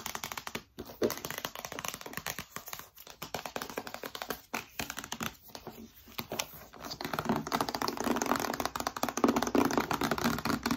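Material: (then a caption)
Cardboard. Long nails tap rapidly and unevenly on a small, hollow, narrow white cardboard retail box with a hanging tab, held in one hand. The result is a dry, clicky, crinkly patter of short, papery taps with little ring, growing busier and louder in the last few seconds.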